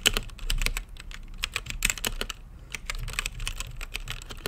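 Fingertips type steadily on a mechanical keyboard with plastic keycaps and a translucent lit case. It makes a rapid, uneven stream of short, bright clicky keystrokes with almost no ring, over a faint low rumble.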